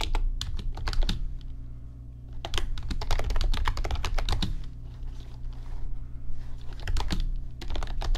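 Fingertips type on an RGB backlit computer keyboard with plastic keys, producing quick, dry, bright clicks that come in bursts with brief lulls. A steady low hum sits underneath the typing throughout.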